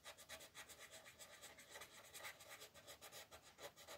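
A wooden colored pencil tip, first orange and then blue, held by a hand with yellow-painted nails, scratches and rubs across a thin printed paper mandala sheet lying flat on a wooden desk. About 15 quick, soft, bright scratching strokes come at an uneven pace of roughly four per second, each a short dry rasp with almost no low end.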